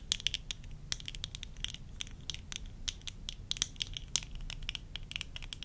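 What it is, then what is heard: Plastic eyeglasses tapped with fingernails. Long fingernails tap rapidly on the lenses and rims of a pair of worn tortoiseshell plastic eyeglasses, then on the temple arms. The result is a quick, irregular run of sharp, bright, dry clicks that stop almost instantly, over a faint low rumble.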